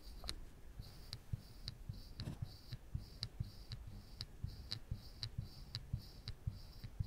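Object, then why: Thin plywood panel scratched with a hot wire tip. A woodburning pen's wire tip is scratched and dragged along the chin outline of a skull drawing on a flat, thin plywood panel. It makes quiet, low, muffled scraping with short, dry clicks and ticks recurring unevenly, about twice a second. Bright hissy bursts pulse in time with the strokes.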